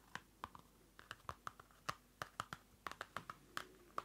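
Fingertips and nails tap a small Field Notes pocket notebook, a solid paper block in a dark card cover, close to the mic. Nineteen quick, dry taps come in an uneven rhythm, each a short papery knock centered around 1.2 kHz with bright edges. They die away almost instantly against a quiet background.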